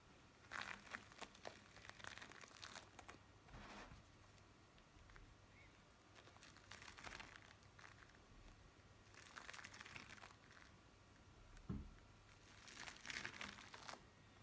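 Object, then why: Bead play foam on a metal tray. Flattened blue bead play foam on a metal tray is pressed and rubbed with a palm and fingers, giving bursts of dense, bright crinkling and crackling. The bursts come in several spaced waves with quieter pauses between them, over a low steady hum.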